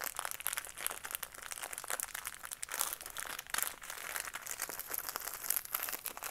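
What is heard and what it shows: Fingertips and nails squeeze and rub a small, hollow retail craft kit package held in both hands: a cardboard backing card with a clear plastic blister holding green and red pieces. The result is a dense, continuous stream of bright, crisp crinkling and crackling, with quick snaps and almost no low end.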